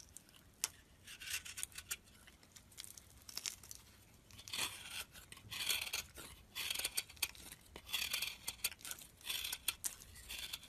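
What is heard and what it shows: A solid cream bar soap held in the fingers is cut and scraped with a metal utility blade, breaking off crumbly chips. Quiet, bright, crisp scraping and crunchy cutting sounds come in irregular bursts with sharp clicks and almost no low end.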